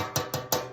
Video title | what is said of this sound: Sheet Pan Sausage and Peppers | it's because this pan is a lot lighter